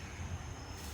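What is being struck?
Nothing is struck.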